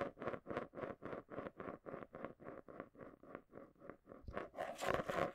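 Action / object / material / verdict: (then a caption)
shake / marble in a small clear plastic container / plastic / none. A marble swirls and rolls around inside the base of a small, round, hollow clear plastic container held upside down in both hands close to the mic, scraping and rattling against the plastic. It makes a quick, steady run of rhythmic whooshing scrapes with a hollow plastic tone near 550 Hz. Toward the end the scraping grows louder and brighter.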